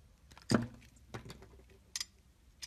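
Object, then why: Soap bar scraped with a metal blade. A solid blue-and-white striped bar of soap, held in the hand, has its edge shaved and scraped with a metal utility-knife blade. Six short, dry scraping strokes are heard; the first is the loudest and fullest, and later ones are fainter with a bright, crisp edge. Each stroke stops almost at once, with quiet pauses between them.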